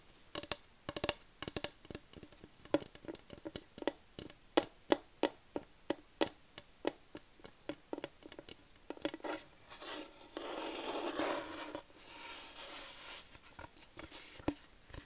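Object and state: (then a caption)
Wooden plaque. Long nails tap a flat, light wooden plaque printed with "Home is the best place," making about 30 short, dry clicks with a bright edge and almost no ring over the first ten seconds. The nails then scratch across the plaque in a sustained, hissing rasp, followed by a second, softer scratch and a few final taps.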